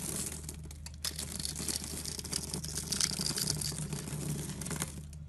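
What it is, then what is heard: Bar soap being carved. A utility knife blade scrapes and carves the cross-hatched surface of a solid green rectangular bar of soap held in the hand, shaving off small cubes. A continuous run of quick, dry scraping and crinkly crunching is heard, bright and hissy up high over a steady low hum underneath.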